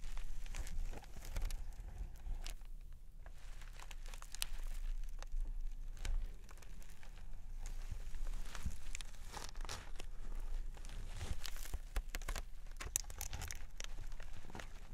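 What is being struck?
Floral foam brick sealed in plastic film.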